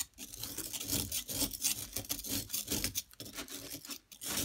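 A flat metal blade tool scrapes across a solid yellow plaster excavation block held in a hand with long nails. The scraping gives a bright, gritty rasp in quick uneven strokes, with brief dips between passes.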